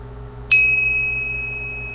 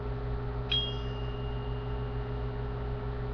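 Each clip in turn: First: brass sword guard with a clear, lower-pitched ring. Second: steel sword guard, high-pitched ring.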